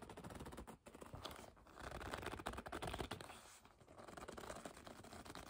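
Long nails scratch, grip and rub a hollow black leather bag, making a dense run of soft scratchy, squeaky rustles. The texture swells and briefly drops quiet twice before carrying on steadily.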